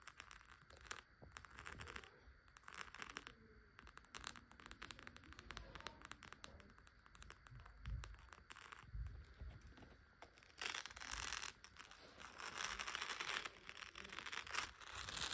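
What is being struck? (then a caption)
Beaded clutch purse with plastic pearls. Long acrylic nails tap and scratch over the rows of faux plastic pearls on the beaded flap of a small gold clutch purse lying on a couch. The result is a quiet, irregular stream of dense, bright clicks and crackly scraping that swells into busier, hissier bursts toward the end.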